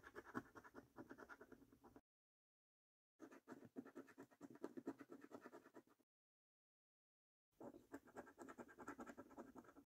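A coin scratches the latex coating off a thin, flat paper scratch card in three bursts of quick, dry strokes separated by short silences. The scraping is quiet and rasping, with its energy mostly in the low-mid range.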